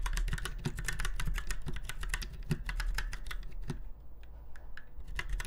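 Fingertips of both hands type on a retro typewriter-style mechanical keyboard with round white keycaps set in chrome-look rings on a silver frame. A fast, steady stream of sharp, short clicky keystrokes is heard over a low background hum, slowing briefly near the end before picking up again.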